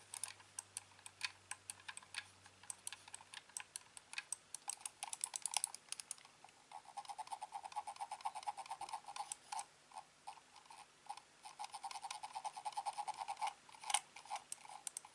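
Fingertips click and tap the shell of a hand-sized, hollow, black plastic corded computer mouse held sideways. Quick, dry clicks and taps come in rapid, uneven bursts over a quiet background. Each one stops almost instantly, with a hollow midrange knock around 800 Hz and a bright, sharp edge.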